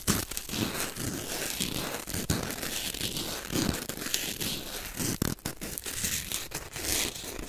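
A small white corn starch foam packing peanut, made of solid lightweight foam, is squeezed, crushed between fingers and torn right beside the microphone. Dense, crunchy crinkling and squeaky tearing run continuously, with sharp bright crackles over a softer low rustle. The foam breaks down in a steady stream of short, dry snaps with almost no ring.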